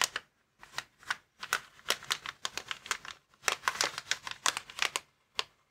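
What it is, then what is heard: Plastic air column cushion bag. Fingertips and nails scratch and tap across a clear plastic air column cushion bag, inflatable packaging lying flat on a table. The result is a rapid, irregular run of dry, bright crinkling and ticking bursts with almost no low end and no ring, separated by brief pauses.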